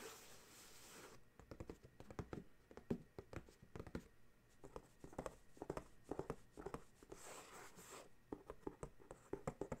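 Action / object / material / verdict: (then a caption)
tap / paperboard dryer sheets box / paperboard / none. Fingertips and short nails tap and scratch the top of a medium rectangular printed paperboard box of dryer sheets, closed and likely full, lying flat on a gray towel. It opens with about a second of soft steady scratching, then a run of many quick, dull taps with brief faint scraping between them. The taps are muted and low, with almost no ring.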